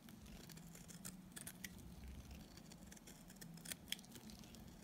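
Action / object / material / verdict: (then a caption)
scrape / bar of soap shaved with a knife blade / soap / none. A small, solid piece of dry white soap is held between the fingers and shaved with a utility knife blade into crumbly flakes. Quiet, steady scraping and cutting rasps run throughout, with brief bright crisp ticks as the blade bites, over a faint low hum.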